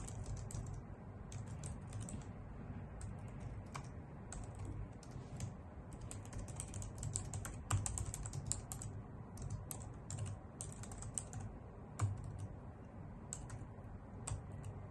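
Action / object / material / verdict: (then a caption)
tap / plastic computer keyboard typed with nails / plastic / none. A white full-size plastic keyboard with hollow key caps, resting on a wooden desk, is typed on with long nails and fingertips. Quick, sharp, bright clicks and taps come in uneven bursts over a steady low hum, each tap dying away almost instantly.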